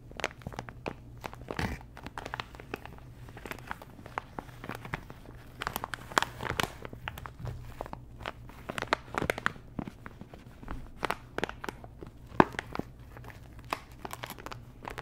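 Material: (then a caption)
Plastic. Long nails scratch a small, thin, flat, sealed printed plastic sticker packet while fingers crinkle it. The result is a steady run of dense, sharp crinkles and crackles with brief dry clicks, with broadband bursts reaching high into the bright range over a low, quiet hum.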